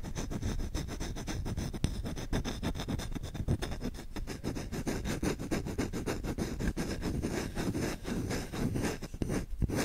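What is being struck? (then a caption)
Wooden spoon. Short fingertips scratch fast across the bowl and handle of a solid wooden spoon. The result is a dense, continuous run of rapid, dry scratching that lasts about ten seconds, with most of its energy in the low range and only faint bright edges.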